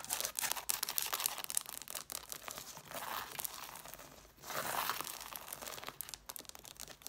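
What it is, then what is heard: Book page edges scratched. Long nails scratch the page edges and covers of an angled stack of red hardcover books. The result is a fast, irregular run of crisp, papery scratches and ticks with a bright, hissy edge, swelling into longer rasping strokes around the middle before returning to quick, light scratching.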